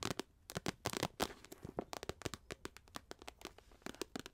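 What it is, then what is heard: Empty holographic plastic pouch, crinkled and tapped. An empty, medium-sized iridescent holographic plastic or foil pouch is held in both hands in front of a microphone, then crinkled, squeezed and tapped with long acrylic nails. The result is a rapid, irregular series of sharp, dry crinkles and clicks with bright high-end crackle, each snapping off almost instantly with no ring.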